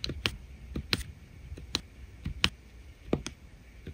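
A drill pen tip taps repeatedly on resin rhinestone drills set on an adhesive diamond painting canvas. Seven short, dry, bright clicks land at an uneven pace, each stopping almost instantly with no ring, over a faint low background hiss.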